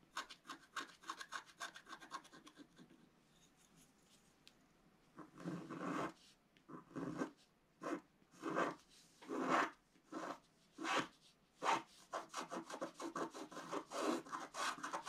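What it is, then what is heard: Scratch-art card being scratched. A wooden stylus scratches a flat black-coated paper scratch-art card held down by one hand, making rubbing strokes over a moon shape. Quick, light, dry scratches are followed by a brief near-silent pause, then longer, louder rasping strokes that come in separate bursts with short gaps between them.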